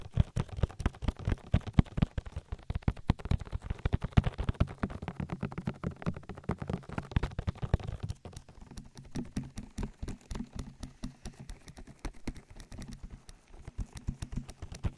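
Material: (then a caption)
Silicone. Fingertips tap and rub an oily silicone ear of a binaural microphone, its hollow canal visible. Dense, rapid, low, muffled thumps and slick rubbing fill the clip. The sound grows quieter and sparser after about eight seconds.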